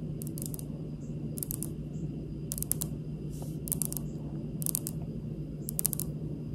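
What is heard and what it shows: Long pink nails on both hands tap and scratch a large, solid, speckled granite kitchen countertop. Small bursts of quick, bright, dry clicks recur over a steady low hum, and each tap dies away almost instantly with no ring.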